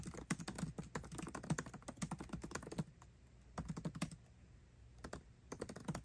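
Both hands type fast with fingertips on the backlit black plastic keycaps of a 13-inch aluminium MacBook Pro laptop keyboard. Quick, dry clicks and low thuds come in dense bursts, with a quieter gap near the middle before the rapid tapping resumes.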